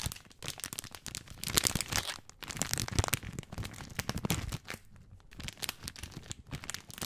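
A full plastic film bag of dry spaghetti is scratched and crinkled along its length by fingertips. Dense, bright crinkling and crackling fills the sound with sharp, short snaps. There is a brief quieter stretch near the five-second mark before the rustling picks up again.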